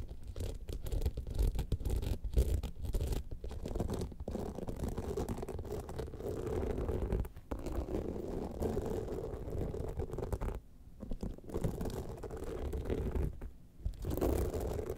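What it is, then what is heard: Rhinestone-studded clutch bag being scratched. Long nails scratch the flap and then the sides of an upright, gold, rhinestone-studded evening clutch bag. The result is a dense, continuous, low-heavy rasping scratch with a steady mid-range hiss. It drops briefly quieter around 7, 11 and 13.5 seconds.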